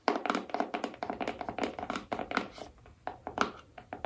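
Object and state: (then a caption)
Cardboard phone box tapped with fingernails. Long acrylic nails tap rapidly over the surface of a small, hollow black cardboard iPhone box printed with a phone image, held in both hands. The result is a quick, uneven run of dry, hollow clicks with a faint boxy tone near 730 Hz and almost no ring after each tap.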